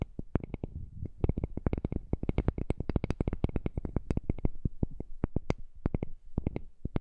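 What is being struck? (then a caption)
Heart-shaped wooden piece. A heart-shaped piece of wood is tapped in a quick, steady stream of short, dry clicks. Each tap has a low, muffled thump with a bright, crisp top, and the rhythm speeds up and thins out at moments but never fully stops.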